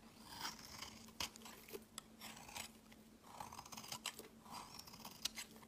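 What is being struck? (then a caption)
Bar of soap. A rectangular, solid off-white bar of soap is held in the hand and shaved with a utility knife blade, scraping and carving off a pile of shavings. Quiet, bright, crunchy scrapes come in quick bursts with sharp, short snaps, over a faint steady low hum.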